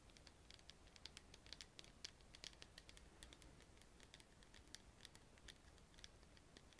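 A small clear bottle from The Body Shop, which appears to be plastic, has a black screw cap and a pink round label and is filled with clear liquid. It is held in both hands and tapped and scratched by long painted nails. The result is a quiet, steady run of short, bright clicks and light scratches over a soft low background hum.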